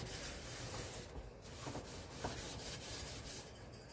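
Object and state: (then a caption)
Stainless steel kitchen sink being scrubbed. A hand scrubs the walls and bottom of a large, hollow double-basin stainless steel kitchen sink dusted with cleaning powder, using a yellow sponge. A steady, gritty rubbing hiss runs throughout over a low rumble, easing briefly near the start, with a couple of short squeaky tones from the sponge on the metal partway through.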